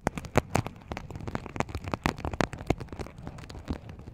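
Fingernails scratch and flip the sequins at the rim of a small, open, empty sequin-covered fabric pouch. The result is a rapid, irregular stream of sharp, dry clicks and crackles, with brief bright ticks over a soft scratching rustle.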